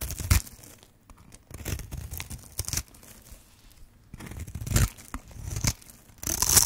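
A metal blade scrapes and carves into the edge of a hand-sized, pink and white striped bar of dry soap held in the hand, and shavings fall away. A series of dry, crunchy scraping and crackling bursts is heard, bright and crisp with a soft low thump under each cut, separated by brief quiet gaps.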